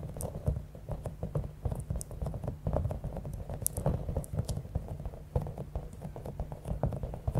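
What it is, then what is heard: Bead-filled rubber squishy ball. Long acrylic nails rapidly tap and scratch a palm-sized, clear, soft rubber stress ball with a spiky top, filled with small beads. The result is a steady, dense patter of soft, muffled taps with a heavy low-end thud and scattered bright clicks and crinkly scratches throughout.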